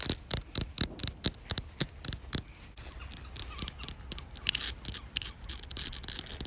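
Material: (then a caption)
Concrete. Long black almond-shaped fingernails tap and scratch a coarse, solid outdoor concrete surface with embedded pebbles. The first half brings sharp, bright clicks in a steady rhythm. After that comes a denser run of scraping and tapping, dry with no ring.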